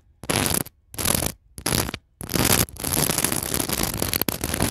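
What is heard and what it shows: A mini microphone's metal mesh grille is scratched and rubbed across a decorative pillow in a store, densely covered in small white and pearl seed beads and clear glass bugle beads. A few short, separate bursts of bright, gritty clicking and rattling give way to a longer, continuous stretch of scratching. The sound is dense and crackly, spread from low rumble to high hiss.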